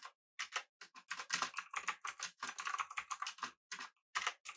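Fingertips of both hands type rapidly on a full-size backlit typewriter-style mechanical keyboard with blue switches, an aluminum body and round plastic keycaps. The result is a fast, uneven stream of sharp, bright clicks with short dry decays, bunched into bursts with brief pauses between them.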